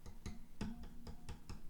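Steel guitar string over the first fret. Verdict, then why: Too low. Two steel strings on a Yamaha guitar are tapped over the first fret seven times, giving short, dull low thuds around 220 Hz with no bright ping. The strings sit too low at the nut and touch or nearly touch the first fret.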